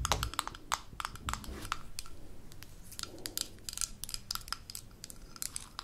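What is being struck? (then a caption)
Small glass jar with metal screw lid. Long fingernails tap rapidly on a small amber glass jar with a gold metal screw lid held in the hands, striking both the lid and the glass body. The result is a quick, irregular stream of sharp, bright clicks with short ring, over soft low handling thumps.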